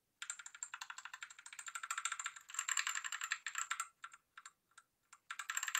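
Keys on a white Rexus Daiva south-facing 65% 68-key gaming mechanical keyboard, with a plastic case and RGB lighting, are pressed rapidly with the fingertips of one hand. The result is a fast run of sharp, bright, clacky clicks with no low end and a thin high tone over them. The typing thins into a few scattered taps before picking up again at the end.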